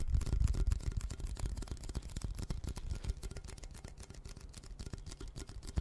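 Fingertips tap and scratch the paper-wrapped side of a red Pringles can, a hollow cardboard tube with a metal base held horizontally. The result is a quick, irregular run of dull, hollow low thuds with very short decay and faint papery scratching on top. The tapping is loudest at the start and gradually softens.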